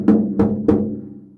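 A bicycle wheel rim made with bamboo composite fiber is tapped three times, each tap giving a hollow, drum-like knock. The knocks carry a low-mid tone that rings briefly before fading.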